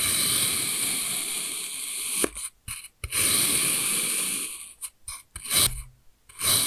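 A steel kitchen knife slices through a palm-sized, solid pink kinetic sand block compressed into a cube, cutting thin slices that peel off and crumble. Long, bright, hissy scrapes alternate with short gritty bursts and brief quiet gaps, most of the sound sitting in the high range.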